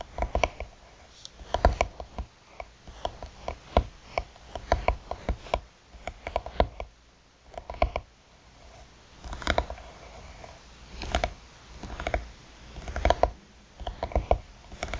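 A closed, hollow hard-shell eyeglass case with a black croc-textured faux-leather cover lies on a bamboo mat while the long nails of both hands tap and scratch its top. Quick, dry clicks and taps come in dense bursts with brief pauses, over a soft scratching rustle and a low, hollow body.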